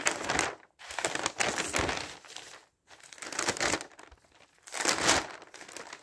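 Thin newsprint sheets of a newspaper are turned and smoothed flat with the fingers, producing crinkling and rubbing sounds. Bright, papery rustling comes in irregular bursts separated by short silences, with almost no low end.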